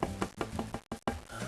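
A cedar guitar top is knocked repeatedly, giving a series of soft, quick wooden knocks with a low, warm tone centered near 190 Hz that die away almost immediately. The cedar top sounds warm.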